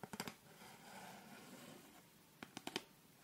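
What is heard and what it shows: Long red nails tap and click on a thin, flat, solid light wooden (bamboo-like) triangular set square held in both hands, striking along its surface and edge. A quick burst of sharp, dry clicks is followed by a soft, steady scratching rustle. Another short run of bright taps ends the clip, each click dying away almost instantly.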